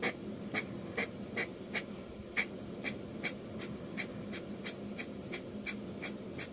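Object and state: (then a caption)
Metal pen nib inking on paper. A metal dip-pen nib in a blue holder, held in the fingers, scratches quick rough ink strokes across a flat sheet of drawing paper with a pencil sketch, a manga manuscript lying on a desk. About fifteen short, bright scratchy strokes come at a steady brisk pace, each with a papery rasp centred near 2.3 kHz. A soft low hum sits steadily underneath.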